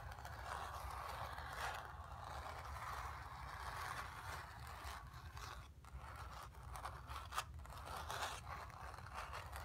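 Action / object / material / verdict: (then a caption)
scrape / painted cotton canvas on a stretcher frame / cotton canvas / none. Long nails scratch across a hollow, painted, stretched cotton canvas, moving over the painted sphere and the background. A steady, dry scraping rasp centered in the mids sits over a low, constant rumble, with brief brighter flicks near the end as the nails change direction.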